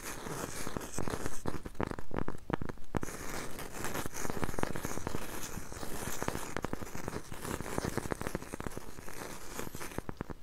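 Long nails tap and scratch the surface of a round, solid, palm-sized cork coaster held next to a mini mic. The result is a dense, irregular stream of short, dry ticks and scrapes with a dull, low-heavy tone and almost no ring.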